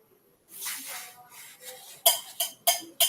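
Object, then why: Aluminium milk can. An aluminium milk can is struck four times, each hit giving a short, bright metallic clink with a ringing tone near 680 Hz that fades quickly. Before the strikes, a softer rustling, shuffling sound is heard. The strikes produce a clearly audible sound.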